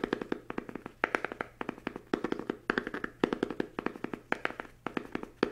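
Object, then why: Fabric-covered hardback book. A small, solid book with a green patterned fabric cover is held up in both hands and tapped quickly with fingertips and nails. The result is a dense run of short, dry taps in uneven flurries, with a muffled body around 400 Hz and bright nail clicks on top. Each tap dies away almost at once.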